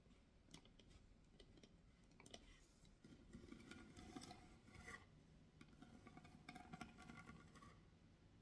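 Long nails scratch and tap the carved lid of a medium, hollow carved wooden box, making quiet, dry scraping with light, hollow knocks and brief bright clicks. The box is then lifted and held upright while the nails keep scratching across the carved lid, giving a soft, continuous textured rasp with short, quickly fading taps.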